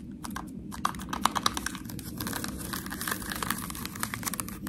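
Long nails scratch and tap the ridged sides of a small ribbed white plastic dip cup sealed with a foil lid. Quick, crisp plastic clicks and scratchy rasps overlap in a dense, bright patter, with a few sharper taps ringing around 1.1 kHz over a soft low rumble. Each tap dies away almost instantly.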